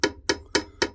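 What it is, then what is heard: Bronze-looking antique, not solid bronze. A heavy, bronze-looking antique found in a Japanese tunnel is struck four times, each hit giving a short, bright metallic clank with a tone around 400 Hz that dies away quickly. The sound is not what solid bronze would make, suggesting the object is not solid bronze.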